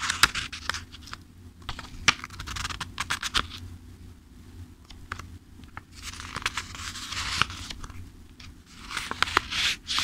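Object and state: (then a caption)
Paperback book, pages riffled. Fingertips riffle and flip the page edges of a thick-paper paperback book. Bursts of bright, dry paper rustling are punctuated by quick, sharp flicks as pages snap past, over a faint, steady low hum.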